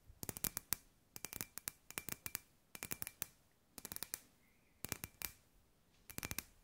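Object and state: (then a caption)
Glass ball lamp tapped with nails. A hand-sized, hollow clear glass sphere lamp with LED fairy lights inside is tapped with long grey nails. Quick, bright clicking taps come in seven short bursts, with a faint glassy ring lingering under each burst.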